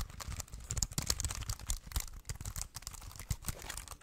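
A small, slim, hollow black plastic Bluetooth wireless keyboard is held in both hands while fingertips press and tap its keys. The result is a rapid, uneven run of short, dry clacks with a hollow low thump under bright plastic clicks.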